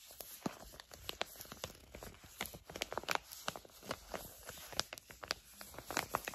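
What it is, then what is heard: Foil-laminate face mask pouch being crinkled. A flat pink and blue sheet facial mask pouch of plastic/foil laminate is crinkled and scratched with long acrylic nails. Quiet, dry, bright crackles and scratches come in quick irregular bursts. Each one is short and sharp, with no ring.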